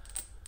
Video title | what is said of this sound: Amazon Items That ACTUALLY Work - Preparedness Items For Disaster | you begin to shake it you can hear the ball going